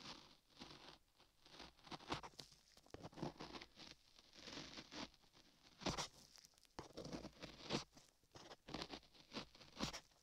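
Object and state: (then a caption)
Clay-covered microphone ear being scraped. A flat metal chisel held in a latex-gloved hand scrapes and carves beige modeling clay packed solid over a 3Dio microphone ear, in repeated strokes. Each stroke is a close, dry, crackly scrape with bright, gritty texture and quiet gaps between the bursts.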